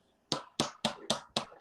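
Six dull, short taps on a plastic cup, each with a quick, muted decay and no glassy ring. The flat sound marks it as a plastic cup rather than a glass one, the kind served in economy class.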